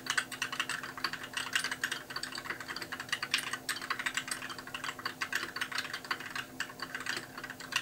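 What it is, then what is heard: Plastic mechanical keyboard. Fast two-handed fingertip typing on a compact white mechanical keyboard with plastic keycaps produces a dense, continuous stream of short, bright clacks. The keystrokes die away almost instantly, with a faint steady low hum underneath.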